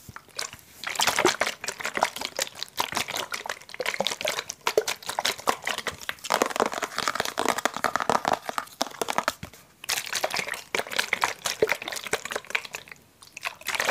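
Fingertips tap and scratch a hollow blue translucent plastic water bottle with a blue cap while it is turned in the hands. The result is a dense run of quick, dry, crinkly clicks and scrapes with a bright edge and almost no ring, broken by short pauses around ten and thirteen seconds.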